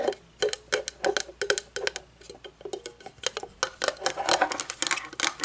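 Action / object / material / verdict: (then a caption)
tap / thin metal candle jar lid / metal / none. Long polished nails tap and scratch the top and rim of a small, round, shiny metal lid from a candle jar, which is hollow and shallow and lies on a wooden table. Quick, bright clicking taps with a faint ring around 410 Hz mix with short scratchy rasps, coming in uneven bursts that grow busier toward the end.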